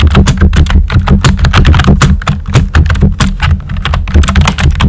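Fingertips with short nails type quickly on a pink and white plastic computer keyboard with round typewriter-style keycaps and hollow keys. The result is a rapid, uneven stream of bright, hollow clacks over a steady low hum.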